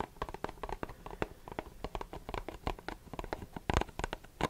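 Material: Cardboard.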